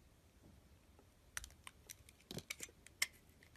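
A blade shaves the last of the green coating off a solid cream bar of soap in strips, giving about eight quiet, sharp scraping clicks. The clicks are bright and dry, with almost no ring, and are spaced unevenly over a soft hiss.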